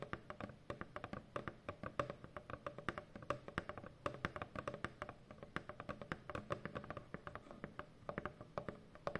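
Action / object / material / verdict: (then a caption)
tap / corrugated cardboard box / cardboard / none. Long painted fingernails tap rapidly across a large, hollow corrugated cardboard shipping box. The result is a dense stream of quick, dry clicks with a hollow, papery knock centered around 570 Hz, and each tap dies away almost instantly.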